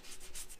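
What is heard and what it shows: A short, soft rubbing scrape over dried paper drywall tape on joint compound, with a low, hollow-sounding rasp and faint high hiss. The hollow sound marks a blister where the tape is not bonded to the mud.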